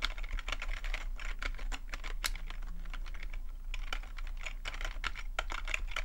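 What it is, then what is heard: Plastic computer keyboard. Fingertips of the left hand, then both hands, tap quickly on the membrane-style keys of a black plastic full-size computer keyboard. A fast, uneven stream of short, dry clicks with bright tops and almost no ring rides over a steady low hum.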